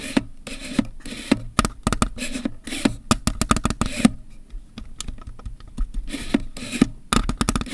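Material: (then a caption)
Plastic. A black Canon EOS 1000D DSLR with kit lens, its hollow plastic body held still on a surface, is tapped and scratched by fingertips on the textured plastic grip and body near the buttons. Quick, dry tapping clicks with a low, hollow knock around 230 Hz alternate with soft, bright scratching swishes, each tap dying away almost at once.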